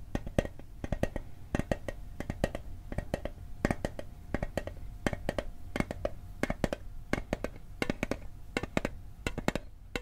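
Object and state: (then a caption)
Small metal mint tin. A small hollow metal Altoids mint tin is held close to the microphone while its lid is tapped with fingertips and nails. The taps come in quick, irregular bursts, each a sharp, dry click with a faint metallic tone that dies away almost instantly.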